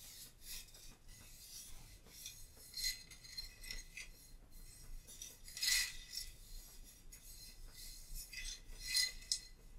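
A small painted ceramic vase is held in both hands and rubbed and scratched with fingertips and long nails. Quiet, bright, raspy scratching runs throughout, with a few louder, sharper scrapes standing out.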